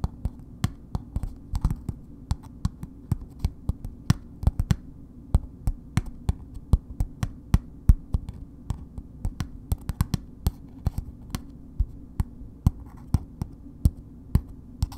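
Long nails on both hands tap a red, paper-wrapped solid bar of soap held upright. Short, dry clicks come in an uneven but steady run, each one dying out almost at once, over a constant low hum.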